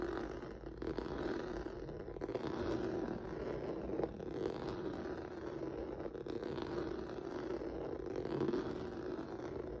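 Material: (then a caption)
Rubber. Fingertips and nails scratch across a flat black rubber or vinyl mat with a textured, noodle-like surface. The result is a steady, continuous dry scraping and rustling, concentrated in the low-mid range with little bright content, holding an even level for the whole clip.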